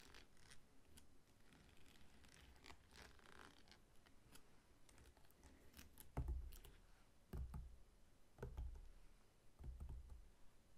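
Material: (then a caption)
Pineapple rind. Fingertips and short nails tap and scratch the scaly rind on the sides of a whole, solid pineapple standing upright on a table. Quiet, dry scratching with light crackling ticks runs throughout, broken in the second half by four louder, dull low thumps as the fruit is tapped.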